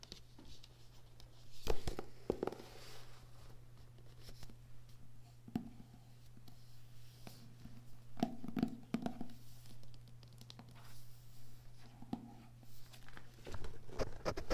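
Fingertips and nails tap along the spine of a Yeats paperback lying on a table, then on its glossy card front cover; the book is solid paper. The light taps are short, dull and soft, with quick scratchy clicks and no ring, over a steady low hum.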